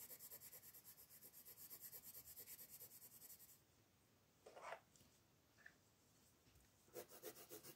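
A light blue wooden colored pencil rubs with steady strokes over a large area of the wing and body on a flat paper coloring page resting on a wooden table. Quick, even, bright scratchy strokes fill the first few seconds, then a near-silent pause broken by one louder swish and a faint tick, before the rhythmic scratching resumes at the end.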